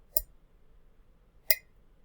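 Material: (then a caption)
Ceramic. A ceramic Star Wars mug is tapped twice, giving two short, bright clicks about a second and a half apart. Each tap rings briefly with a clear tone around 2 kHz over a quiet background.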